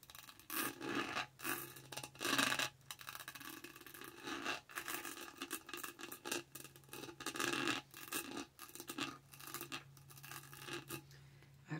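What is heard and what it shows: Long nails scratch and tap the top of a lavender plastic tumbler lid with a dotted texture around the straw. Bursts of dry, bright scratching alternate with quieter tapping over a steady low hum.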